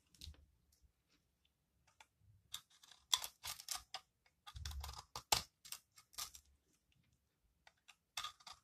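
A metal utility-knife blade scrapes and cuts flaky shavings from a palm-sized, solid, dry recycled soap ball with a purple crust and green core. Bursts of dry, crisp, bright scraping crunches come in irregular clusters, with short quiet gaps and faint low thuds underneath.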